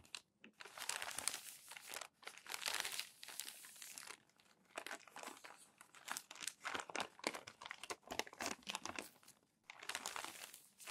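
Crumpled thin glossy magazine pages are smoothed flat with the palms and flipped over, producing bursts of bright, crisp crinkling and rustling. Bursts of crackle alternate with short quiet gaps, with energy spread mostly across the high range and almost nothing in the low end.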